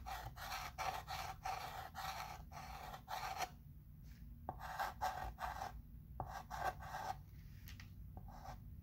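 A dark chalk pencil held in the fingertips writes letters on a flat, rectangular, wood-framed chalkboard with a dark surface lying on a table, while the other hand steadies the board. Short scraping, scratching strokes come in quick bursts with a raspy midrange squeak around 740 Hz and a bright hiss, separated by brief quiet pauses.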